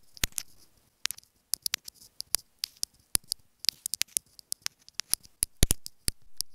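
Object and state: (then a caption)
Plastic inline earphone remote tapped with nails. Long acrylic nails tap and scratch a small hollow white plastic inline remote microphone on a wired earphone cable lying on a fabric bed. Rapid, sharp, dry clicks with bright high bands come in irregular bursts, with a few soft scratchy rubs between them. Each tap dies away almost instantly.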